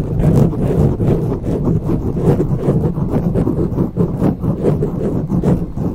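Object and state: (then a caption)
Foam microphone windscreen being scratched. Long nails scratch and grip a grey foam windscreen on a silver microphone with both hands. The result is a dense, muffled rustling and rumbling that is almost entirely low in pitch, with steady rhythmic surges of scraping and no bright content.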